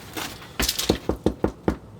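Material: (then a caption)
Bread crust. Freshly baked rye bread loaves, just out of the oven, are tapped on their hard crust, giving a run of short, hollow, wood-like knocks with a faint rustle before them. The hollow sound shows the loaves are baked through, two nice good loaves, though their touching sides burst open.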